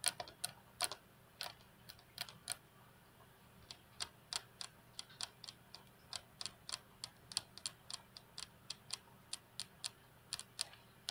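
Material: Glass.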